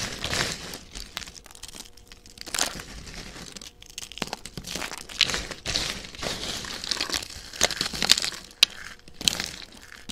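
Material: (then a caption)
Soap. A pile of thin, dry, pale yellow-and-white soap shavings is handled by fingers with long dark-red nails: single flakes are snapped between fingertips, then handfuls are squeezed and crunched in cupped palms. The result is a steady stream of bright, crisp crinkling and crunching with sharp snaps. Dense clusters of louder crunches stand out around 2.6, 5.3, 7.6–8.6 and 9.3 seconds.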